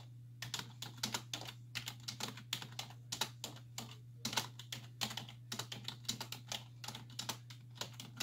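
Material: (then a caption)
Plastic. Two hands with long white-tipped nails type continuously on a black plastic desktop keyboard with hollow key caps resting on a wooden desk, the nails and fingertips tapping the keys. A steady run of short, bright, clicky taps comes in quick uneven bursts, each dying away almost instantly, over a constant low hum.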